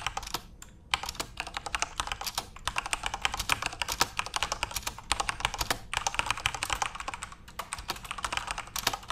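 Continuous fingertip typing on a backlit plastic RGB keyboard produces a fast, dense stream of short, bright clicks that die away almost at once. The clicks come in steady bursts with a few brief pauses over the nine seconds.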